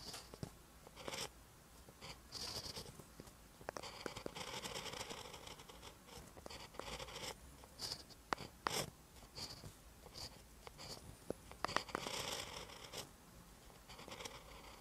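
A ballpoint pen tip writes on a lined paper notebook page, making quiet, bright scratching strokes in short bursts with sharp little clicks between them.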